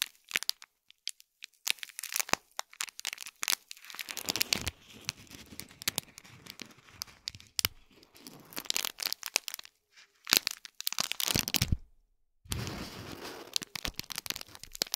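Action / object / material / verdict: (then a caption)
scrape / small foil-wrapped gift box in thin plastic film / plastic film / none. Both hands crinkle and scratch with their nails at the thin plastic film around a small gold foil-wrapped cube gift box. The result is bright, dense crinkling and crackling in irregular bursts, broken by short quiet pauses.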